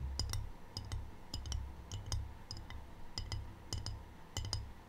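Long painted fingernails tap a small, empty, rectangular white glazed ceramic tray with a black triangle print, held close to the mic. The taps come in quick irregular pairs, each a bright, short clink with little ring. A steady low rumble sits beneath them.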